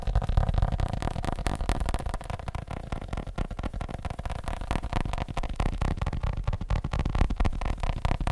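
A leather phone case is tapped rapidly with fingertips, producing a dense, uneven patter of soft, dull thuds that sits mostly in the low range with little brightness. The quick taps run together continuously with almost no ring after each one.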